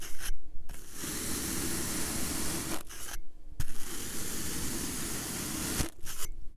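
A plastic-handled comb with long metal pins is dragged through a solid, rectangular block of purple kinetic sand resting on a teal surface, raking and scraping grooves into it. Two long, steady passes of gritty, bright scraping over a low rumble are separated by a brief pause, with short scratchy strokes at the start and end.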